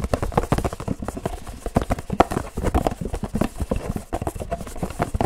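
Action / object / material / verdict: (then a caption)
tap / paperboard drink carton / paperboard / none. A hollow Pilkul paperboard drink carton is drummed very fast with the fingertips of both hands. It makes a dense run of short, dry, low thumping taps in a galloping, clip-clop-like rhythm, with almost no ring after each tap.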